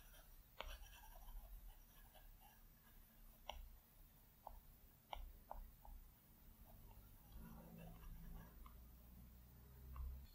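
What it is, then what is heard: Stylus on glass tablet screen. A plastic Apple Pencil tip makes short, scratchy strokes and light taps on the large, flat glass screen of an iPad Pro. The quiet, dry clicks and scrapes stand out against a low, steady background hum, with a longer stretch of soft scratching near the end.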